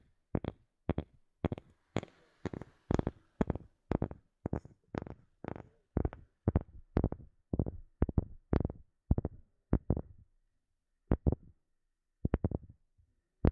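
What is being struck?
Wooden object.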